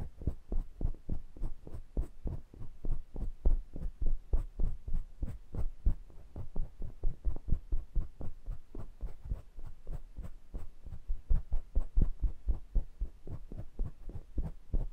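Fingertips tap and rub lightly across the round metal mesh grilles of two identical small condenser microphones. The result is a steady stream of quick, deep, dull thumps around 62 Hz with almost no high end, each dying away almost instantly, like a rapid muffled heartbeat.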